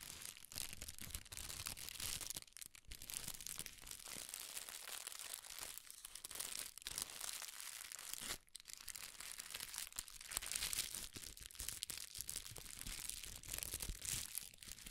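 Folded red tissue paper is pressed, rubbed and crinkled with the fingers. A steady, dense, bright crackling and rustling runs the full fifteen seconds, with brief dips near 2.5 and 8.5 seconds.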